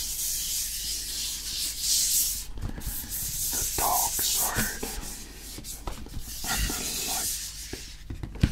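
Fingertips rub and scratch across the printed faces of a hollow, medium-sized printed cardboard Rode SMR microphone box held up in both hands. The result is a steady, bright, hissy scraping with short dry knocks and clicks scattered throughout, over a faint low hum.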